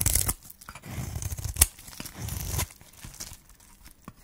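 A solid pink dry soap bar in a magenta wrapper, held in the hand, is shaved with a flat metal blade. Dry, crunchy scraping strokes with a tearing, crinkly texture rise and fade, heavy in low rumble with a bright crackle on top and one sharp snap partway through. The strokes quickly give way to quieter, scattered scratches.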